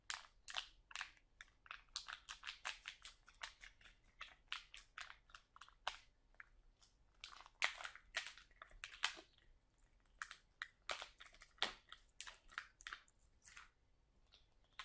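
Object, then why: Plastic bag of sauerkraut. Fingertips and nails press, scratch, and then lift and squeeze a full, sealed plastic bag of sauerkraut. Dozens of quick, sharp crinkles and crackles come in uneven bursts across the clip. They are quiet and bright, with almost no low end and very little ring after each snap.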